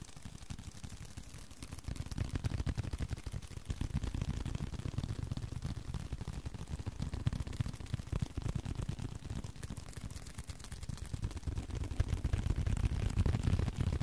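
A small, flat blue leather card holder held in both hands is tapped and scratched with fingertips and short nails. Dense, irregular, muffled low taps come about three per second with a soft scratching texture, growing louder after the opening seconds and again toward the end.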